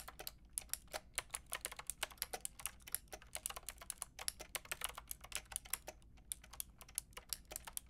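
A white and pink Lofree mechanical keyboard with round plastic keycaps is typed on with long painted nails and fingertips. It makes a steady, fast stream of short, bright plastic clicks and taps with brief pauses, over a faint low background hum.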